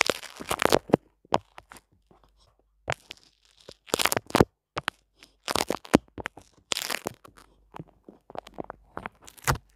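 A small flat sheet of soft white paper towel, held in both hands just above a microphone, is pinched, stretched and rubbed with the fingertips. It gives close, dry crinkling and tearing-like bursts, some bright and crackly, separated by short silences.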